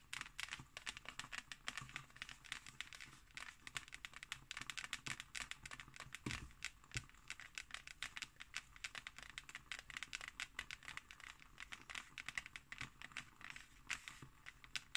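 Fingernails of both hands scratch across the embossed, textured cover of a closed hardcover book held slightly lifted. The result is a dense, steady stream of quick, dry, crinkly scratches, bright and high with very little low end, each one cut off almost at once, running throughout.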